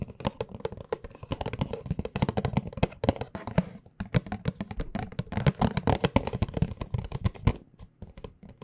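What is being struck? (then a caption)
Small cardboard tea box. A small, hollow, rectangular white printed cardboard tea box is held in both hands and tapped with long dark-painted nails and fingertips. Rapid, dry, hollow taps with a low, boxy thump blend with light clicks of the nails, with a brief pause near the middle. The tapping thins out to a few softer taps at the end.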